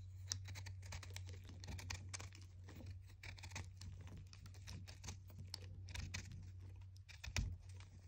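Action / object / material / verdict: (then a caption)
scrape / chalk disc cut with a knife blade / chalk / none. A small solid white chalk disc, held in the fingers, is scraped and cut with a red utility knife blade, shedding powder and flakes. Quick, dry, bright scratchy ticks and crumbly scrapes follow one another quickly over a steady low hum, with a sharper, louder crunch near the end.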